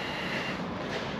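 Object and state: Nothing is struck.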